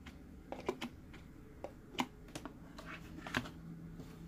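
Fingertips tap on top of the lid of a green, hollow plastic Mike Wazowski sipper cup standing on its base. Short, dry, clicky taps come at an irregular pace and die away almost at once, with a faint steady low hum underneath.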